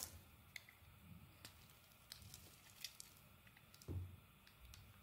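A metal knife blade is scraped across the face of a solid dark green bar of soap. Quiet, dry scraping comes in short bursts, with sharp bright clicks and ticks scattered through it. A deeper, heavier scrape lands near the four-second mark over a faint low rumble.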